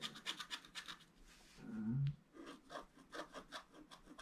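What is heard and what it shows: A wooden stylus scratches away the black coating of a flat, solid scratch-art card with a colored foil layer beneath, held flat on a table. About a dozen quick, fine, dry scratching strokes with bright rasping edges are heard, broken midway by one longer, louder, lower rubbing stroke before the short strokes resume.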